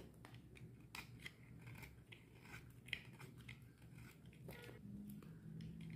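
A solid purple bar of dry soap, held in the hand, is scraped with a metal utility knife blade as shavings pile up beside it. Crisp, bright rasping strokes repeat one after another over a low, steady background rumble.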